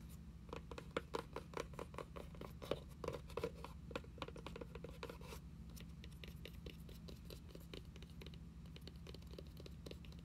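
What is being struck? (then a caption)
Cloth-covered hardcover book spine. Long acrylic nails tap and scratch along the cloth-covered spine and edge of a closed red hardcover journal, a solid stack of pages angled on a wooden table. A quick run of sharp, dry clicks with short scratchy strokes sits over a low steady hum. The tapping is densest in the first half and thins into lighter, evenly spaced ticks toward the end.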